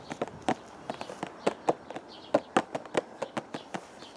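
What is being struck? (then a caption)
Cardboard box. A hollow purple cardboard teacake box, held against the chest, is tapped with the fingertips in an irregular rhythm. About 18 soft, dry taps each give a short, hollow mid-pitched knock that dies away almost at once, over a faint steady background hiss.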